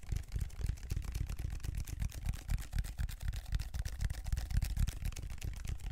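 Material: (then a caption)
Plastic. Fingers scratch and tap the grid pattern of a large black ridged plastic textured foam roller held horizontally in both hands. The result is a quick, uneven stream of dull, low thumps, about four a second, overlaid with faint bright scratching. Each tap dies away at once with no ring.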